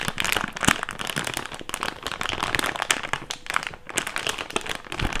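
An empty, hand-sized, thick clear plastic bag is crumpled and rubbed between fingers. It makes a steady, dense crinkling with many sharp, bright crackles and snaps that fade almost instantly. The crinkling rises and dips in loudness throughout.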